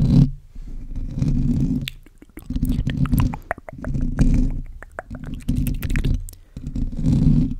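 Fingertips of both hands scratch and rub a black foam windscreen covering a microphone. The result is a close, muffled, low rumbling scrape with soft crackles, coming in uneven bursts separated by brief quiet gaps.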